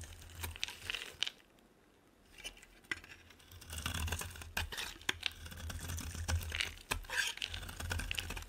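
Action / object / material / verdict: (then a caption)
scrape / bar of soap shaved with a knife blade / soap / none. A utility knife blade shaves and scrapes a solid oval bar of olive-green soap held in the palm, with the shavings piling up beside it. Irregular, crisp, crumbly scraping strokes crackle with a bright edge over a steady low hum. A brief quiet gap falls near the two-second mark before the shaving picks up again.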